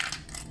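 A papad (lentil/rice flour wafer) microwaved without oil is broken apart, giving three dry, bright crackling snaps with a crispy, brittle crunch. The crackle shows it is fully cooked with no uncooked spots and as crisp as an oil-fried papad.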